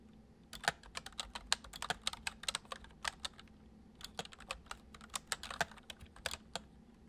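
Fingertips of both hands tap and press the keys of a full-size white plastic MSI keyboard with keycaps resting on a wooden desk. Quick, bright, dry clicks run in an uneven typing rhythm with a brief pause near the middle, each keystroke ending almost instantly over a faint low hum.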